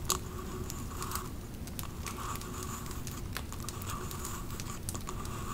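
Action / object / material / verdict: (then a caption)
tap / glass candle jar with label / glass / none. Long nails tap and scratch a Pumpkin Cupcake glass candle jar and its label. Soft, dry scratching runs steadily throughout, broken by light, sharp ticks, with a faint ringing tone underneath. Overall, the sound is quiet and close.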